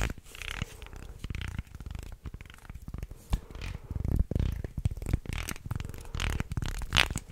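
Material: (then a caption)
Wood. A wooden segmented shark toy with slotted sections is flexed into an arc and twisted close to the mic while fingernails scrape across the segment edges. The result is a dense run of dry wooden clicks and rattling scrapes, heavy in the low end, with brighter ticks and a sharp peak near the end.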